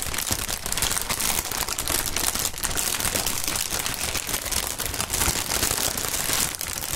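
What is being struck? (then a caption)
Plastic air-pillow packaging film. Clear plastic inflatable air-pillow packaging film with air-filled chambers is held and crumpled between gloved hands, pressing and crinkling the film. A steady, dense run of bright crinkling and crackling continues throughout, with a little low thumping underneath.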